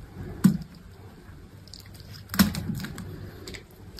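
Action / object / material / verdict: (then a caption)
scrape / bar of soap cut with a metal blade / soap / none. A metal utility knife blade cuts slabs and shavings off a hand-held solid green bar of dry soap. Two sharp, crisp cuts stand out, each with a low dull thud and a brief bright crackle, separated by quieter scraping and soft crumbling sounds.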